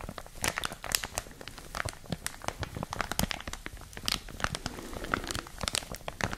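A clear, thin plastic bag wrapped around a printed product is rapidly crinkled with long nails and fingertips. The result is a dense stream of sharp, bright crinkles and crackles over soft low rustling, each burst dying away almost instantly.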